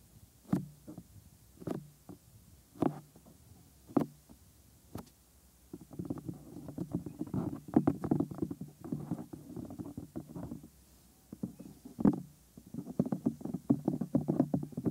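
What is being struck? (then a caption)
Silicone ear mold of a binaural microphone. Bare fingertips touch the white silicone ear molds of a 3Dio binaural microphone, first tapping the lobe and around the ear canal with spaced, dull, muffled thumps. From about six seconds on, the hand rubs over the ear, making a dense, low, rumbling scrape with one firmer thump midway and no bright edge.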